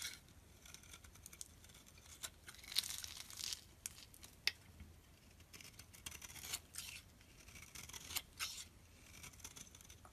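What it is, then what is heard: Soap bar scraped with a blade. A metal blade scrapes crumbly flakes off a solid purple bar of soap with a scored surface, held in the hand. The scraping comes as quiet, bright, crisp rasps and crackling bursts, with a few louder strokes standing out.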